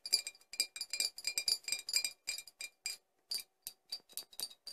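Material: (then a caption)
Glass. Four glass bottles are tapped in a quick, uneven series of light clinks. Each tap gives a short, bright, glassy ping with almost no low end, fading fast, with brief pauses between clusters of taps.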